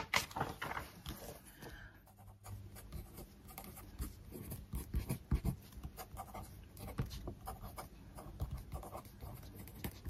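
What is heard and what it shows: An open glossy paper magazine lies flat on a desk while a hand with long nails turns a page, making a bright crinkling rustle. A wooden stick then scratches and traces over the printed text page with soft, dry, continuous scraping strokes. Occasional louder taps rise above the quiet scratching.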